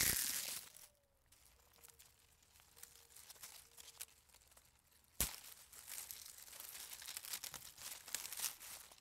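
A small uprooted dried weed with brittle brown leaves is held near the microphone and crumpled and rubbed between the fingertips of one hand over dirt ground. A loud burst of crackling at the start gives way to quiet, sparse rustling with a faint thin tone, then a sharp snap. After the snap, dense, bright crinkling and crunching continues to the end.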